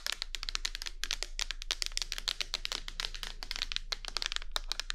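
A medium clear plastic micellar water bottle with a pink cap, partly filled with liquid, is held in both hands close to a binaural microphone and tapped with long nails. The result is a rapid, steady stream of short, bright, crisp clicks and taps with almost no ring, over a faint low hum.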